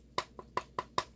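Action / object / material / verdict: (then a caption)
knock / plastic rifle buttstock / plastic / none. Five quick, hollow knocks on the plastic buttstock of an airsoft Mosin-Nagant carbine, each a sharp tap with a bright ring near 1 kHz that dies away almost at once. The light, hollow tone marks the stock as plastic rather than wood, a result of the rifle's low price.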